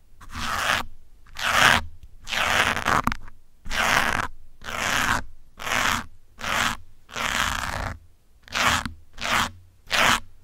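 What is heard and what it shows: Metal pins held in fingers scratch and pull across the top and side of a grey foam windscreen on a black microphone. About a dozen separate rough, crunchy strokes are heard, each a burst of dense, bright scraping noise with a faint low rumble, separated by short silences.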